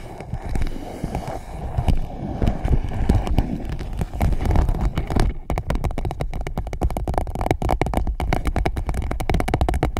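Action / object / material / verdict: tap / empty clear PVC pouch / PVC plastic / none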